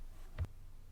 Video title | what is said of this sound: Nokia Lumia 822 Unboxing, Hands-On, First Boot - Pocketnow | there's a bit of a hollow sound when you tap on it